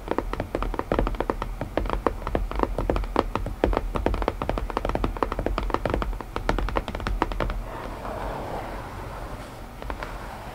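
Long nails tap rapidly on the hollow lid of a small closed white cardboard puzzle box, each tap a short dry knock with a hollow, low-mid tone. After about seven and a half seconds the tapping gives way to soft scratching across the lid, with a few last taps near the end.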